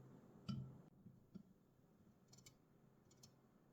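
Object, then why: Aluminum drink can. Fingers tap on an aluminum Red Bull energy drink can, producing soft, sparse metallic clicks. The first tap is the loudest, with a dull low thud and a short ring. Quieter ticks follow, some with a faint bright edge, over a low background hiss.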